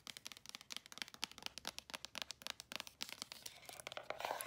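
Long acrylic nails rapidly tap and scratch the edges and faces of a small, hollow white cardboard earbud box. The result is a quick string of crisp, dry, bright clicks with almost no low end, giving way near the end to denser scratching rustle.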